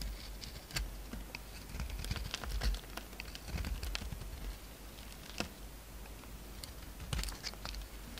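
A utility knife scrapes and shaves flakes off a solid purple-pink soap bar held in the hand. Soft, dry scraping comes with scattered crisp, bright ticks over a low, steady rumble, and the shavings peel away in short strokes.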